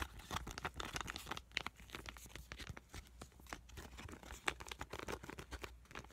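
A full, small tan sheet mask packet with an avocado print, made of foil and plastic laminate, is squished and tapped with fingertips and nails. It gives a dense run of bright, crinkly crackles and short taps that die away almost at once, with no pauses over the whole clip.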